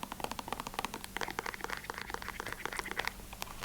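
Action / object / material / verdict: scrape / plastic container of cotton swabs / plastic / none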